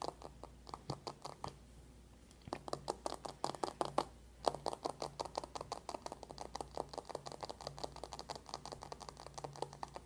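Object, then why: Cardboard makeup palette. A closed dark cardboard eyeshadow palette lies flat on a white table and is fast-tapped with the long nails of both hands. Dozens of quick, dry, crisp clicks follow in rapid bursts, with brief pauses near 2 and 4 seconds. Each tap is short and mid-pitched, ending almost instantly with no ring.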